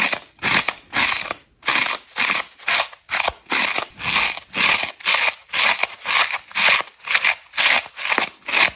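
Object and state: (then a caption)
Foam kitchen sponge. Long red nails scratch the dry foam face of a rectangular orange polyurethane kitchen sponge with a green scouring layer, held in one hand, and crumbs fall off. The result is a steady series of short, bright, raspy scratching strokes, about two per second, with brief silent gaps between them and almost no low end.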